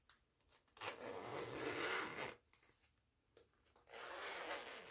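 Fingertips with long nails pull the zipper pull along the purple nylon coil zipper of a small, soft printed fabric cosmetic pouch with a purple and orange mandala pattern, zipping it open and closed. Two long, bright, rasping zips are heard, separated by small clicks and taps from handling the pull.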